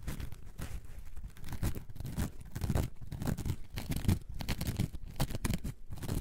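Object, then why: Foam sponge block. A coarse orange foam sponge block, held in both hands, is scratched with long nails. The result is a steady run of rough, rasping scratches in uneven bursts, mostly deep and muffled with brief bright streaks of texture.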